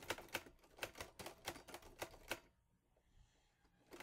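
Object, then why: Metal manual typewriter. Fingertips press the keys of a green-grey metal Olivetti Lettera 22 portable manual typewriter with paper loaded, and the type bars strike in steady, sharp, bright mechanical clacks. The typing runs for about two and a half seconds, falls to a near-silent pause, then resumes at the end.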